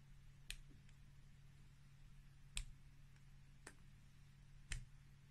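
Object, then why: Bar of soap shaved with a plastic peeler. A green plastic peeler shaves curls off a solid, layered white bar of soap with red and black stripes held in the hand. Four sharp, bright scraping clicks stand out, spaced irregularly, over a quiet, steady low hum.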